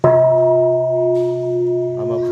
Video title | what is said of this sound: 위즐 커피를 만드는 달랏 커피 농장의 족제비는 한국말을 알아 들을까요? 베트남 달랏 여행 콘솝 커피 다람쥐 커피 아나운서 브이로그 | 불전함에서 이렇게 맑은 소리가 나는 것을 보니까